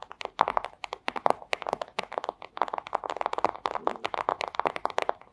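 Long acrylic nails scratch and tap a flat, thin clear plastic pouch, making a rapid run of crisp, crinkly clicks and scrapes. Each tap is short and dry with no ring, centered in the upper midrange with little low end and some bright edges.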